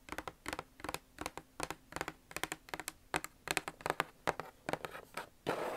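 Long nails tap and scratch quickly across the lid surface and edge of a closed, hollow red Nike cardboard shoe box. Rapid clusters of short, dry, bright clicks and scratches ring hollow over a faint low hum. The clip ends in a louder, sustained scrape.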